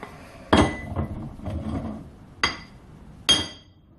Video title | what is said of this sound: Five ways to test steel hardness in the workshop | you can hear the way it rings so hitting with a hammer